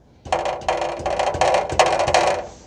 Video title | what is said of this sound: 2010 Toyota Corolla 1.8 - Rear Exhaust Heat Shield Repair | you can hear that there's a heat shield that's loose